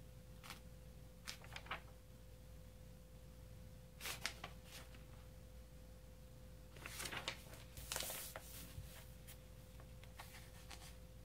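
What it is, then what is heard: Glossy magazine pages being turned. Fingertips with nails turn and flip the heavy glossy pages of a large open magazine lying on dark fabric. Quiet, bright paper rustles and crisp flicks come in scattered bursts, with denser crinkling near the middle and end. A steady low hum and faint tone sit underneath throughout.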